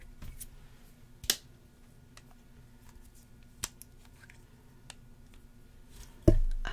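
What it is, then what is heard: Plastic spray bottle. Fingernails tap a small, hollow red plastic spray bottle with a white plastic cap, making a few sparse, sharp clicks with short bright ticks over a quiet background. The clip ends with a louder, longer low-pitched rumble.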